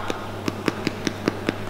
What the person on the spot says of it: that's that hollow drum sound that we were talking about